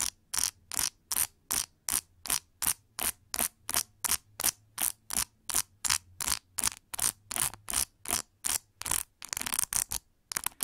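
Long nails scratch and rake across the plastic bristles of a large metallic pink plastic paddle hair brush with a white rubber cushion, held by its handle. About thirty short, bright, crackly bursts repeat at a steady brisk pace, each stopping dead, with a faint low hum underneath and the strokes blurring together near the end.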